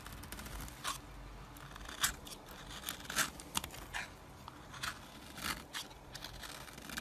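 A metal knife shaves and scrapes flaky curls off a solid orange bar of soap standing on its edge. Dry, crisp scraping strokes come at an irregular pace, with sharp bright crunches rising above a quiet, steady hiss and a faint low rumble underneath.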